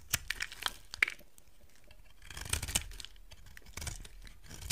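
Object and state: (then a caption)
Dry soap bar being carved. A solid rectangular white bar of dry soap, held in the hand, is carved and scraped with a utility knife blade. Crisp, bright scraping and crunchy shaving sounds come in short bursts with quieter stretches between, and sharp clicks stand out as the blade bites in.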